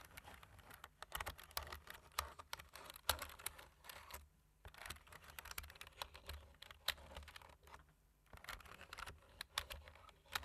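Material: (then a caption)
Plastic. Fingertips tap the black plastic keys of a slim plastic computer keyboard in a typing motion. Quick, irregular bright clicks patter in bursts, with short pauses near the middle and again toward the end, over a faint low hum.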